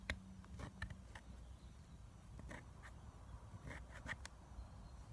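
Long nails scratch the pressed powder in the pans of a clear plastic eyeshadow palette that is partly dug out, and powder falls. Short, dry scraping strokes come in scattered bursts over a quiet, low background rumble, each scratch dying away almost at once.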